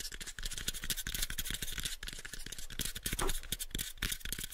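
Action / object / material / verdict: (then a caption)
scrape / small wooden box / wood / none. A pale, light wooden box is held in both hands while fingernails scratch and rub across its faces and edges. The result is a dense, continuous run of quick scraping strokes with a bright, high hiss over soft low knocks, ending without any ring.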